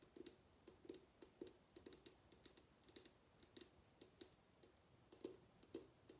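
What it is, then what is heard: Glass bottle tapped with fingernails. Long nails tap and click along a tall, clear, mostly empty glass bottle with a decorative top, held tilted in the hands. About two dozen quiet, sharp clicks come at an uneven pace, each a bright tick with a faint hollow glassy body that dies away almost at once.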